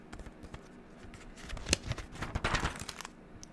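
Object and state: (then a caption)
Paper spiral notebook. Long neon-green acrylic nails lift and flip the white paper pages of a pink-covered spiral notebook back and forth. Soft, quiet rustles build into crisp, bright papery flutters and swishes, loudest in the middle, with light low thumps as the pages settle before it fades back to faint rustling.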